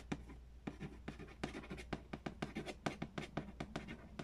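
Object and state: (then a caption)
Cardboard board game box. Fingernails scratch and tap the printed lid and front edge of a large, hollow cardboard Payday board game box. A rapid, uneven series of quiet, dry taps carries a low, hollow body tone and crisp scratchy bursts. A faint steady low hum sits underneath, and each tap dies away almost at once.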